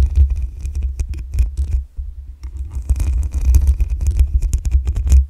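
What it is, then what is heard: Metal mesh microphone grille being scratched. Long acrylic nails scratch and tap the black metal mesh grille on the hollow head of a desktop condenser microphone. The result is a rapid run of scratchy, crackling scrapes with a heavy, boomy low rumble and bright, sharp streaks on top. The scratching briefly eases into a quieter, softer rustle near the middle before picking up again.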